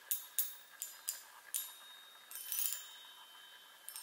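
Long nails tap the hollow metal tubes of a small handheld chime on a wooden frame, giving a quiet series of bright, high, thin pings. Five separate taps come first, then a quick flurry of tinkling strikes, and a couple more taps at the end. Each note rings briefly before fading.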